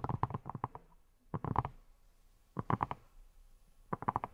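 A hand-sized, yellow, silicone pineapple-shaped brush with a textured surface, which appears hollow, is tapped with long nails. The taps come in four quick bursts of soft, muffled, low thuds with very short ring and pauses between.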